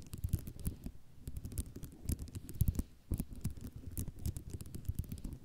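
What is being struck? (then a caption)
Ceramic mosaic tile sheet. Long nails tap quickly and scratch across a flat sheet of small white square ceramic mosaic tiles. The result is a dense run of short, dry clicks and rattles with a low, thumpy body and bright ticking edges, each hit dying away almost at once.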